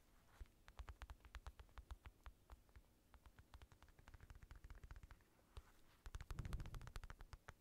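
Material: Synthetic leather.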